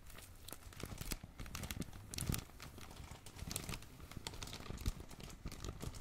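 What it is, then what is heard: Crumpled plastic bag bundle. A fist-sized bundle of thin blue, red and black crumpled plastic film is crinkled and pressed with the fingertips of both hands. The result is a steady, dense crackling of sharp, bright snaps over a soft low rustle, with a few louder crunches along the way.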